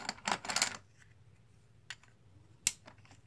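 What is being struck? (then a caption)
Plastic poker chips. A stack of green plastic composite poker chips, solid discs held in the hands, is shuffled and clacked together with fingers and nails. A quick flurry of bright, dry clacks fills the first moment, followed by quiet and then a few isolated, sharp clicks that die away almost instantly.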